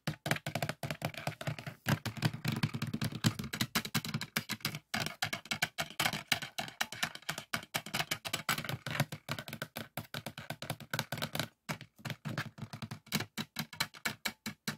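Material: Polycarbonate.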